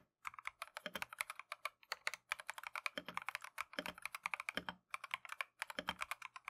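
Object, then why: Plastic mechanical keyboard. Gloved fingertips type continuously on a plastic Keychron V1 mechanical keyboard with Tangerine switches and green and cream PBT Matcha keycaps. It makes a rapid stream of short, dry, clacky taps centred around 2.4 kHz with high, bright edges, broken by a few brief pauses. Each keystroke dies away almost instantly, with almost no low end.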